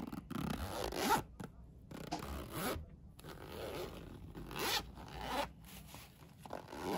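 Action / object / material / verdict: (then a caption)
scrape / fabric pencil case with plastic coil zipper / fabric, plastic / none. A Minion fabric pencil case's yellow nylon coil zipper is zipped and unzipped, its slider pulled with a fingertip and nail. Repeated quiet, raspy zipping strokes rise and fall, with brief silent gaps between some pulls.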